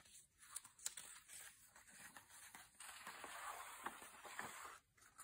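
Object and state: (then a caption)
Glossy paper magazine pages. An open glossy paper magazine lies on a bed while its thin pages are rubbed and turned by hand with fingertips and long painted nails. The result is soft, bright papery crinkling and swishing with scattered sharp ticks and almost no low end. The sound ends in a brief near-silent pause before one last crisp flick.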